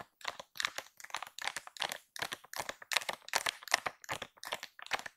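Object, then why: Soft plastic-film pack of wet wipes. Long pink acrylic nails tap and scratch the top of a full, soft plastic-film pack of baby wipes, pink and white with a cow print, lying flat. About a dozen quick bursts of dry, bright crinkling and ticking arrive in an uneven rhythm, each made of several tight clicks with no low end and almost no ring.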